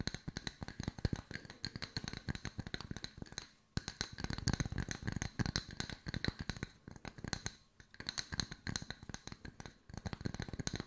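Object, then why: Round wooden slice coasters. Long white nails tap rapidly and steadily on two solid round wood-slice coasters, producing dense, dry knocks that pair a low, woody thump with bright clicky edges. Each tap dies away almost instantly, and the stream of taps halts briefly a little before the four-second mark before resuming.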